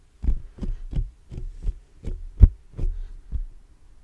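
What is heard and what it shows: Fingertips tap and scratch the black metal mesh grille of a large hollow condenser microphone. This produces a steady series of deep, muffled thumps, almost all low-frequency energy around 60 Hz, with faint scratchy brightness on each touch. Each thump dies away almost instantly, so the sequence sounds like a soft, throbbing heartbeat.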